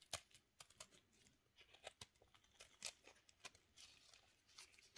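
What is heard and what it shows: A steel knife shaves the face of a solid pink soap cube held in a black-gloved hand, sending flakes falling. Quiet, bright, dry scraping and crackling strokes come in a rapid, uneven series of short bursts with almost no low end and no ring.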